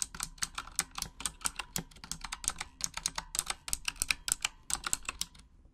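Long acrylic nails tap away in a typing motion, typing in Japanese, on a full-size pink Razer Huntsman mechanical gaming keyboard with RGB backlighting and plastic keycaps. A rapid, uneven run of sharp, bright clicks and clacks follows, each one short and dry with almost no ring, over a faint low hum.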